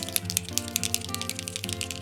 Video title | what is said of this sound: Advent Calendars 2023 Day 22 | That means it's mixing up the paint in there